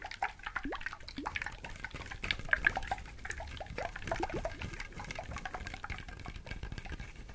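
A whole brown coconut, a bit smaller than a head, with a fibrous hairy shell and liquid inside, is held in both hands close to the mic and scratched and tapped with fingertips and nails, possibly shaken. A quiet, busy run of soft taps and dry scratchy rustles mixes with wet, gurgling slosh and drip-like sounds with quick upward-sliding pitches.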